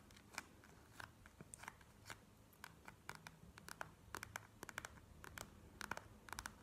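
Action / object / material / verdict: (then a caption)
tap / plastic gel-bead eye mask / plastic / none. Long nails tap and scratch quickly on a plastic gel-bead eye mask lying flat on a table. Short, sharp clicks with a bright, crackly edge come in uneven bursts over a faint low background hum. Each tap dies away almost at once.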